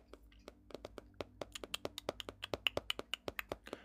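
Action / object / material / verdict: tap / paper sketchbook / paper / none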